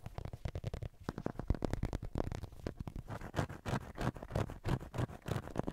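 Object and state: Plastic acupuncture model figure.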